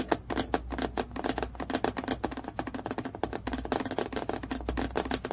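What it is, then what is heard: Acrylic plastic clipboard. Long-nailed fingertips tap quickly along the edge and surface of a clear acrylic plastic clipboard with a clip, lying flat. They produce a dense, steady stream of short, dry plastic clicks with a midrange body and almost no ring, over a faint constant low hum.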